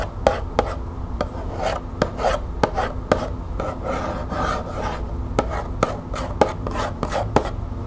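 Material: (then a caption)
Cardboard. Long fingernails tap and scratch the barcode side of a small, closed green cardboard tea box held in the hands. Sharp, dry clicks punctuate a steady papery rasp of scratching throughout the clip.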